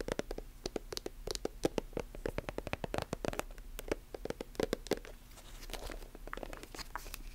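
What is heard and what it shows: Long nails tap and scratch a silver metallic plastic lotion tube and its chrome cap, giving a rapid, irregular run of short, dry clicks with almost no ring. Toward the end the tapping eases into softer scratching, over a faint steady low hum.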